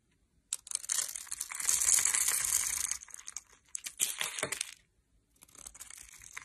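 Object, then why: Bar of soap. A metal blade cuts a solid, hand-sized light green soap bar with a finely scored grid surface into small cubes and shavings. It makes bright, crisp crunching and crackling scrapes in three bursts separated by brief pauses, with almost no low end.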